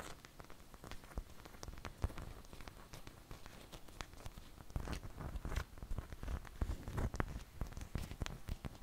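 Long fingernails tap rapidly across the surface of a large, thin flour tortilla held up in the air. The result is a dense, quiet run of dry, crackly ticks with soft low thumps underneath. The patter speeds up and grows a little louder in the second half.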